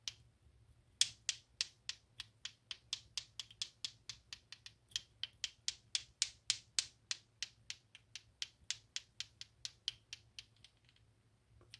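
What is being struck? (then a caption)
Plastic clacker balls. Two small solid pink plastic balls on a string of a clacker toy are swung by hand so they collide repeatedly. About 39 sharp, bright clacks ring out in a quick, slightly uneven rhythm of roughly three to four per second, each dying away almost instantly, with its tone centred near 3.4 kHz. A single click opens the clip, then the steady clacking runs for about ten seconds before one last faint click at the end.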